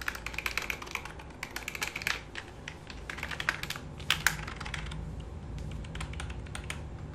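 A black full-size plastic computer keyboard resting on a lap is typed and tapped with fingertips, giving quick, bright plastic clicks with a short, dry decay. Toward the end, the clicking gives way to a steadier, softer rustle as a palm rests on and rubs across the keys.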